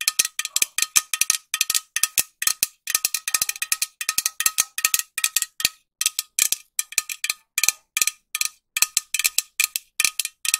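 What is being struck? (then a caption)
Metal aerosol can. A green, medium-sized, hollow metal aerosol spray can with a white cap is tapped with long nails, fast and slow. Dozens of short, bright metallic clicks come in quick bursts and pauses. A faint ringing tone sits above 1 kHz, and each tap dies away almost at once.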